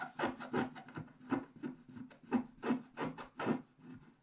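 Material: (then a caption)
Coated paper. A wooden stylus scratches across the top left area of a flat, black-coated scratch-art paper sheet, with a hand held over the page. The result is a quiet, dry series of short rasping scrape strokes at an uneven rhythm, each with a soft mid-range grainy texture and almost no ring.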